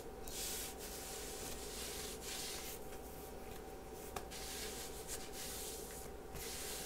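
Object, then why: Knit fabric sweater sleeve. Long nails and fingertips scratch and rub across a soft pink ribbed knit sweater sleeve worn on the forearm. The result is a steady, close scratchy rustle with bright hissy strokes that swell and fade over a faint constant low hum.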